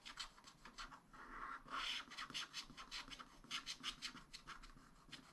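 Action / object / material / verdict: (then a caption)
scrape / wax-coated scratch-art paper scraped with a wooden stylus / coated paper / none. A wooden stylus scratches green star shapes into the black-coated sheet at the bottom of a spiral-bound scratch-art pad. It makes a quick series of dry, bright, raspy strokes with almost no low end, and one longer, louder scrape near the two-second mark.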